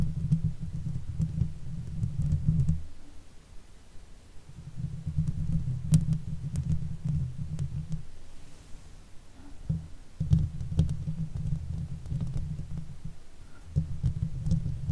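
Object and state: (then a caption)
Metal mesh microphone grille. Long acrylic nails scratch and tap the top of the hollow woven metal mesh grille on a silver Blue Yeti microphone. The result is a deep, muffled, rumbling scrape with faint sharp ticks, coming in steady bursts broken by brief quiet pauses.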